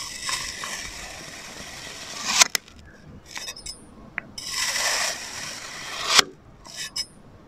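A metal knife blade held in fingers slices diagonal cuts through a flat, solid blue and orange kinetic sand Among Us figure resting on a white surface. Two long, bright, gritty scraping passes are heard, each building in loudness and ending in a sharp click as the blade finishes the cut. Softer ticks and light scrapes fall between and after them.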